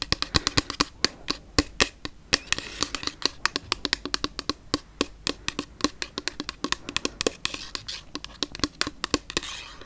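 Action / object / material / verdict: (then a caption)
tap / plastic toner bottle / plastic / none. Long nails tap and scratch a hollow, pink frosted plastic Lumene toner bottle with liquid inside. The result is a rapid, uneven series of sharp, bright clicks with very short decay, over a soft, hissy scratching texture.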